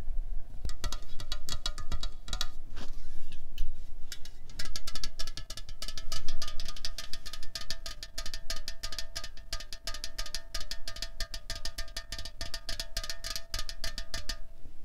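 Long fingernails and fingertips tap quickly and unevenly on a hollow 0.33 L Coca-Cola Cherry aluminium can lying on a checked tablecloth. The dense, crisp clicks carry bright, short metallic ringing tones over a low, steady rumble. The sound swells and fades slightly throughout.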